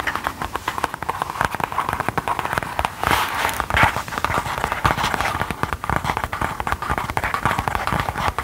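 A soft, flat gold faux-leather pouch or clutch, apparently empty and held in the hands, is tapped and scratched with long gold metal filigree claw nail covers. The result is a steady stream of quick, dry clicking taps mixed with brief scratchy rustles, centered in the midrange around 820 Hz with some bright edges and very little ring after each hit.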